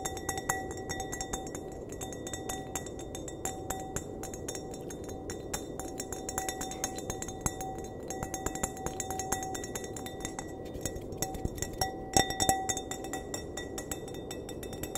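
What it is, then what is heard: Glass wine glass. Fingernails tap the bowl of a clear, empty glass wine glass in a quick, steady stream of light clinks. Each tap rings briefly at around 760 Hz with bright overtones over a steady low background hiss, and a louder cluster of taps comes near the end.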